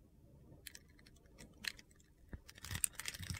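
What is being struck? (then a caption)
Soap bar. A utility knife blade scores and slices a solid yellow bar of soap held in the hand, cutting it into small crunchy cubes that crumble off. Quiet, gritty scraping and crisp crunching cuts come in scattered bursts, thickening toward the end.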